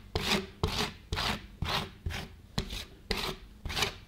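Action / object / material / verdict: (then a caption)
scrape / thin frozen ice cream sheet on a steel plate, steel spatula / ice cream, steel / none. A gloved hand repeatedly scrapes and pats a thin frozen ice cream sheet on a stainless steel cold plate with a flat steel spatula. Eight sharp taps are heard, about two per second, each followed by a bright, raspy scratching rub that fades quickly.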